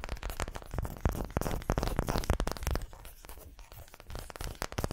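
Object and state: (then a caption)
Wooden ball scratched and tapped. A solid, palm-sized ball of unfinished light wood is held close to the microphones and scratched and tapped with the long fingernails of both hands. The result is a dense, irregular stream of dry, crinkly scratches and short, muffled taps with a heavy low-end thump and almost no ring. The activity grows quieter and sparser toward the end.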